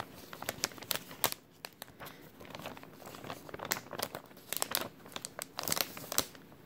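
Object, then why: Thin clear plastic bag. An empty, thin clear plastic bag with a white label is crinkled and folded between fingers. It makes a dense run of sharp, bright crackles and crinkles, mostly high-pitched with little low end. The crackles come in uneven clusters and stop quickly with no ring.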